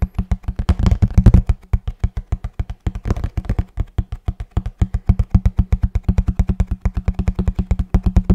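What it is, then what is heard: Cardboard box. Fingertips tap rapidly on a hollow kraft cardboard box held close to the mic, producing about 65 short, deep, hollow thuds with almost no ring. The taps run in a fast, steady rhythm, blurring into denser, louder flurries near the start and around the three-second mark before settling into evenly spaced knocks.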